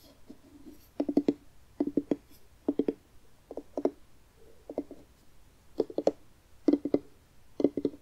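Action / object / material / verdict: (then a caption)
tap / carved pumpkin rind / pumpkin rind / none. Fingertips and nails tap and scratch the rind of a medium orange jack-o'-lantern pumpkin, hollow and scooped out with a carved face, held up in both hands. Eight short clusters of quick, dull, hollow taps with a low-mid body around 285 Hz, separated by brief soft scratching. The sound is dry with almost no ring.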